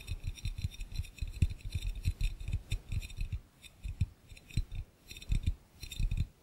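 Both hands tap and click fast with their fingertips on the glass base of an empty, hollow, clear glass fishbowl. The rapid, irregular taps give dull low thumps under faint bright clicks, each dying away almost at once. The bursts come in quick runs with brief pauses between them.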